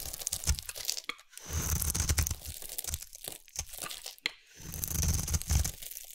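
A utility knife blade carves a solid rectangular yellow bar of soap, held in the hand, into thin stringy shavings. Quick crunchy, tearing scrapes alternate with two longer drawn-out cuts, each with a low, dull body and a bright, hissy edge.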